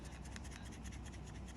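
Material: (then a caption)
Kydex. A State & Union Dog's Head KaBar fixed-blade knife with a red spacer is shaken while sheathed in a leather-clad custom kydex sheath. Only a steady, low, muffled rubbing and scratching is heard, with no distinct clicks. There is no rattle, showing the sheath holds the knife with tight retention.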